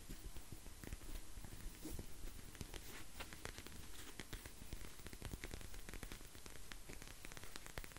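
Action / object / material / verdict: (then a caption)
scrape / plastic eye mask filled with gel beads / plastic / none. Fingertips and nails scratch and squeeze a clear plastic eye mask full of gel beads with a white strap. The result is a steady, quiet stream of dense crackling and rustling clicks with a low-heavy body and bright, sharp ticks throughout.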